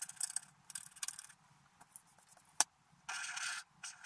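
A wooden stylus scratches along the edges and border of a black-coated scratch art paper card while the other hand holds the sheet. Bursts of dry, bright scraping come and go, with one sharp tick in the middle. A steady, louder stretch of scratching follows near the end.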